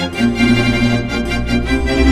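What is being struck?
Nothing is struck.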